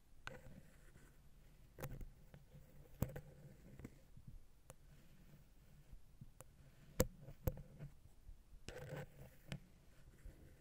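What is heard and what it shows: A wooden ear pick taps and scratches on and between the silver metal X/Y capsules of a Zoom H6 microphone head. Quiet, irregular scraping and rubbing are broken by sharp, short clicks, with a low rumbling body and a faint ring in the low-mid range. Several louder taps stand out, the strongest near the middle and end.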